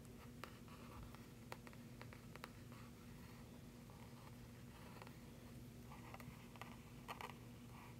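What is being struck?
Glossy printed paper flyer.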